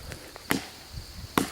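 Knocks on the upper part of a dead white oak trunk give two short, sharp, dry thuds with a brief ring and a few fainter taps in between. The upper trunk sounds solid, unlike the hollow base of the same tree.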